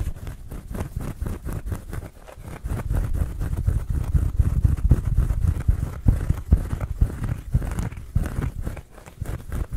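A small, round, flat woven rattan coaster of natural fibre is held in the hands and scratched and rubbed with fingertips and nails. The result is fast, irregular, dense scratching and rubbing, dull and low in tone with soft thumping strokes that rise and fall in loudness.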